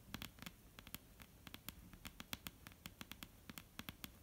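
Long painted fingernails on both hands tap and lightly scratch a solid, dark brown wooden table top. The result is a quick, uneven patter of sharp, dry clicks with short, bright ticks and a faint low thud beneath. Each click dies away almost at once over a soft scratchy hiss.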